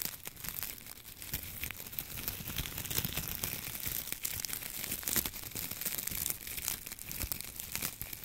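A bunch of dry wheat ears and stalks hangs in front of a microphone while the fingertips of both hands stroke, scratch and rustle the dry ears. The result is a steady, bright, crinkly rustle, dense with fine crackles and brief snapping ticks.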